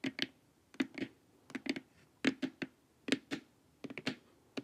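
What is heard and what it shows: Long nails tap the top and sides of a glossy, hollow plastic LED face mask, making sixteen short, crisp clicks in quick pairs and small clusters. Each tap has a hollow plastic knock with a bright click on top and dies away almost at once.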